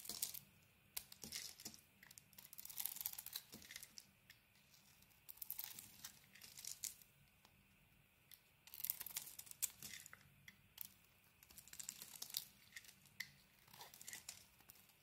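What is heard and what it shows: A hand-sized solid rectangular bar of soap with a dark blue outer layer and a cream core is held in the hand and shaved and carved with a metal blade. Bright, crisp scraping and crackling bursts come in clusters, separated by brief quiet pauses, with many sharp little clicks as the blade bites and flakes peel away.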